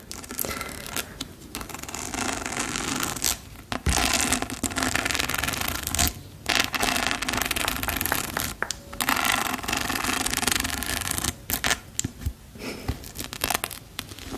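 A small, hollow, yellow glossy patent plastic clutch purse with a rhinestone strap is scratched and tapped with long pearl-decorated nails. Bursts of dense, bright scratching and rubbing alternate with brief quiet gaps, and sharp taps are mixed in.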